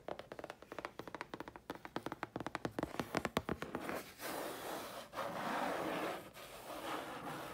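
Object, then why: Thin chipboard sheet tapped with fingernails. Long fingernails tap a thin, flat grey chipboard sheet in a quick, uneven run of short, dry clicks with no ring. After about four seconds the tapping gives way to a steady, broadband scratching across the sheet, briefly broken twice.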